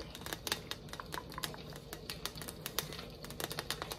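A flat rectangular "North Pole City Limits" sign, likely painted tin, is held up while long acrylic nails tap and scratch across its face. A quick, irregular run of sharp, bright clicks and light scrapes sounds over a low, steady background, with each tap dying away almost at once.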